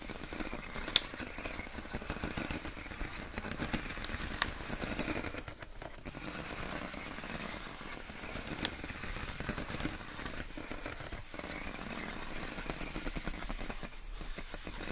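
Long acrylic nails tap and scratch clear inflated plastic air column wrap with hollow air cells, wrapped around a pink box. A steady crinkly, rustling scratch runs throughout, broken by a few sharp, bright clicks and brief quieter pauses.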